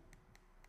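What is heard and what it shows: Three light taps on the glossy back panel of an Itel S23+ smartphone, which looks like metal but turns out to be plastic. Each tap is a short, dull click with a brief bright tick on top that dies away quickly.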